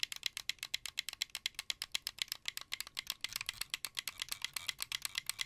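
A hollow, blue translucent plastic wired Xbox 360 controller is held near the microphone while fingers rapidly press its buttons and triggers. The result is a dense, fast run of short, bright plastic clicks and rattles with almost no low end and no ring after each click.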